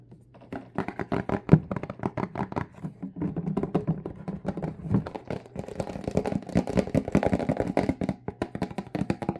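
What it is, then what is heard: Plastic spray bottle. A Windex plastic spray bottle with a trigger head, partly filled with liquid, is held in both hands and tapped with fingertips and nails on its front label. A rapid stream of short, dull, hollow taps with almost no ring follows, weighted toward low tones and growing denser and steadier in the second half.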